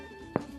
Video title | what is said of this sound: Mrs Calabash Cooks' Bread Baking Day | if you knock it with your knuckle like that and you get a hollow sound that means the bread is cooked